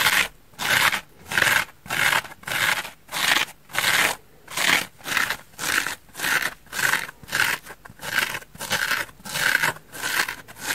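Fingernails repeatedly scratch the porous face of a large, dry, orange, curved open-cell polyurethane foam bath sponge held in one hand. Each stroke makes a bright, dry, rasping scrape with a slightly papery hiss, coming in a steady but loose rhythm of about one stroke every two-thirds of a second, with short silences between strokes and almost no low end.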